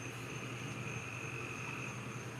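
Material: Nothing is struck.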